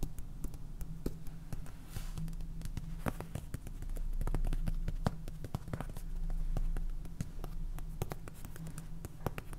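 Fingernails tap and scratch on a small clear plastic jar filled with white salt and topped with a purple lid, giving quick, irregular dry clicks with short bright transients. A steady low hum runs underneath, swelling into a louder rumble twice during the clip.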